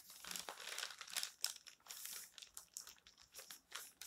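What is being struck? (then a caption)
Thin paper magazine pages. Fingertips rub across the thin paper pages of an open magazine, a text page and a dark photo page, lying on a stack, then lift a page corner. The result is a quiet, bright, dry crinkling in quick irregular bursts with no low end.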